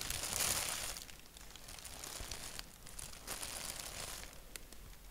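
A thin white paper sheet printed with a black doodle is scratched and tapped with fingertips and nails, with an index finger tapping single spots. Dry, bright crinkling and scratching form a hissy texture, with a louder burst at the start and light taps scattered through the rest.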